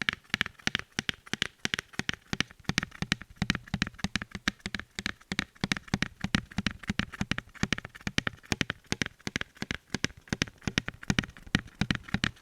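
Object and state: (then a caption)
Wooden picture frame. Rapid, continuous tapping on a brown wooden picture frame received as a gift, with many dry, short knocks that die away almost instantly. The taps come in quick uneven bursts throughout, each a sharp click with a low woody thump underneath.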